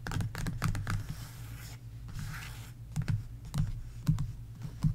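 An open sticker book with glossy paper sticker pages is rubbed and tapped by fingertips and long nails. Quick, dull clicking taps come in clusters over a low, steady hum, with a softer stretch of scratchy rubbing in between.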